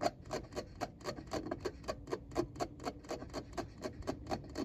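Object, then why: Hard plastic car radio faceplate with buttons and knob. Fingertips scratch and tap around the round tune knob and buttons of a hard plastic car radio faceplate. About twenty quick, dry, clicky taps come at a loose, uneven pace of roughly two per second, with faint rasping scratches between them.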